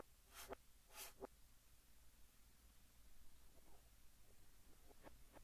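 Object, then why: Chalk stick on a chalkboard. Fingertips hold a yellow chalk stick and write Korean text on a large, flat green chalkboard, scratching it across the surface. Two bright, hissing scrapes come early, each ending in a sharp tick. Fainter short squeaks and taps follow over a quiet, low background hum.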